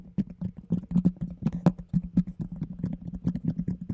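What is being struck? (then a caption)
Plastic container with lid. A round, hollow, empty plastic container with a yellow lid is held close to the mic and tapped and scratched by fingertips and nails. Quick, dull, hollow knocks ring at a low pitch and die away almost at once, with faint scratchy rustles between them in a steady, busy rhythm.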